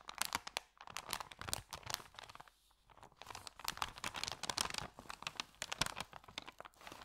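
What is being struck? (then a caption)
Thin paper sandwich bag. Hands flex and crumple an empty, thin white paper sandwich bag with green print, producing dense, crisp, bright crinkling with no voices. The crackles come in rapid bursts, with a brief lull near the middle before the crumpling picks up again.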